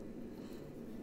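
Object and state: Nothing is struck.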